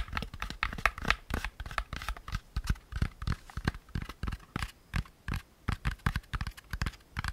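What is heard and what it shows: Fingertips tap and scratch the walls and rim of a hand-sized, hollow, empty beige molded paper pulp packaging insert, held up in the air. Dense, short, dull taps with a low body come in quick irregular bursts, mixed with dry scratchy rustles between them. Each tap dies away almost at once.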